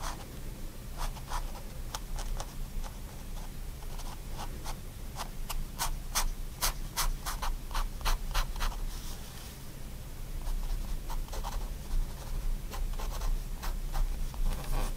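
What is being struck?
Fine liner pen on paper sketchbook sheet.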